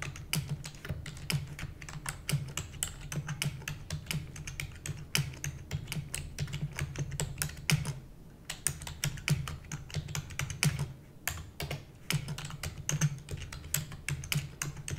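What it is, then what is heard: Plastic computer keyboard being typed on. Rapid typing with long nails on a black plastic computer keyboard, producing a steady stream of sharp, bright clicks and clacks. The clicks ride over a low, constant hum and pause briefly around the middle before continuing.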